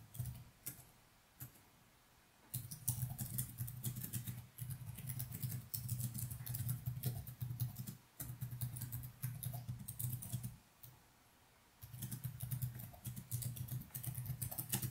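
Fingertips type steadily on the plastic keys of a laptop resting on a wooden desk, giving soft, rapid clicky taps in bursts with short quiet pauses between them. The keystrokes have a low thud body with bright click edges and very little ring.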